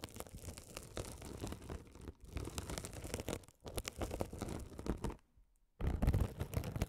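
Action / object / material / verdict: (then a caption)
scrape / mesh-covered foam scouring sponge / foam, mesh / none. A rolling gold metal spiked roller scratches a hand-sized blue glitter mesh scouring sponge, soft and solid with a sparkly woven mesh cover, held close over the mics. Dense, low crackling scrapes come in bursts, broken by short silent pauses, with the loudest and heaviest passage at the end.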